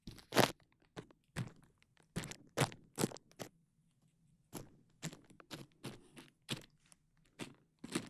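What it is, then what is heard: Plastic bubble wrap. A large sheet of clear plastic bubble wrap is draped over a KU100 microphone while fingertips and nails pinch and pop the bubbles at its side. The result is a quick, irregular series of sharp, bright crunchy pops and cracks with short crinkly rustles between them, each snap dying away almost instantly.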